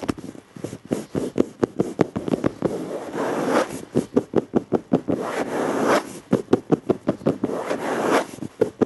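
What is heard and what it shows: Fingertips of both hands tap and scratch the front edge and top of a dark, flat plastic surface. About 30 short, dry, clicky taps come in quick runs, broken by stretches of scratchy rubbing. The sound is mostly midrange with little low end, and each tap dies away almost instantly.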